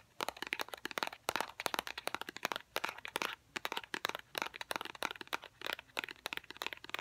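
A small, hollow white cardboard product box for a fidget cube is held in both hands and tapped with fingernails. A rapid, uneven run of sharp, dry clicks and crackles comes in bursts over about seven seconds, each tap dying out almost instantly. The sound has bright, papery highs and no low end.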